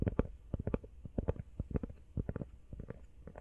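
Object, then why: Rubber phone case. Fast, uneven tapping on a rubber iPhone case gives about eighteen short, dull, low thuds. The taps are muffled, with almost no brightness and no ring after each one.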